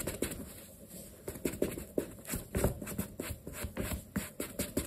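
A black leather sneaker, stuffed with a cloth and held in the hand, has its toe and side buffed and rubbed with a yellow cloth under the fingertips. Soft, close brushing and rubbing strokes come with a steady patter of short, muffled taps and scratches that rise and fall over a quiet background.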